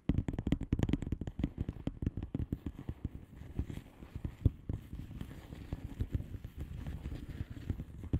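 Long manicured nails of both hands tap and scratch across a flat blue plastic bubble wrap mailer envelope with air-filled bubbles. About thirty quick, dull, low-pitched taps land in dense bursts with almost no ring, over a soft continuous scratching rustle. The tapping is busiest in the first few seconds and then thins into lighter taps and scratching.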